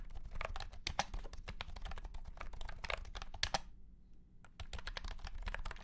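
A white and pink cat-shaped keyboard with round plastic keycaps in a hollow plastic case is typed on with the fingertips of both hands. It makes a quick, steady patter of short, bright plastic clicks over a low hollow thump. The typing stops for under a second before starting again.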